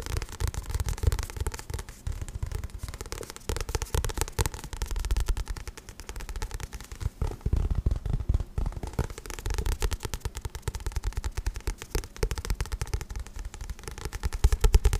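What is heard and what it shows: Fingertips tap rapidly and continuously on the glossy card back cover of a paperback book. The taps are soft, dull thuds, mostly low in pitch with very little bright content, each dying away almost instantly, forming a dense, crackly patter throughout.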